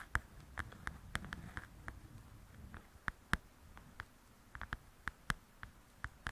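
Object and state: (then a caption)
Paperback coloring book. Long acrylic nails tap quickly on the glossy cover of a softcover paper coloring book lying flat and solid. About twenty short, dry clicks ring around the midrange with a bright edge and die away instantly, irregularly spaced and of varying strength. A soft low rustle sits beneath the taps during the first half.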